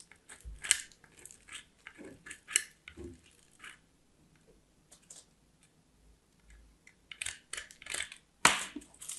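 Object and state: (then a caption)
Soap bar grated on a metal grater. A small, solid white bar of soap is grated by hand on a small steel box grater, producing a series of dry, bright scraping and crunching strokes. After a quieter pause in the middle, the strokes resume, ending with a sharper, louder scrape.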